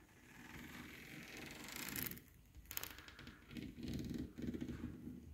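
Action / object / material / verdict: scrape / ribbed thin aluminium sheet panel / aluminium / none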